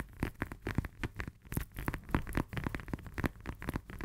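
Long nails tap quickly on the peel of a whole, solid fresh lemon held in both hands. The result is a fast, uneven run of soft, short clicks with a dull low thump and a faint crackly texture underneath.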